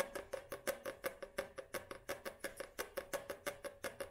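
Long nails tap and scratch the glossy card front cover of a paperback book held upright. About 23 quick, dry taps come in a loose rhythm, each with a short clicky attack, a faint tone near 535 Hz and bright scratchy edges, fading almost at once.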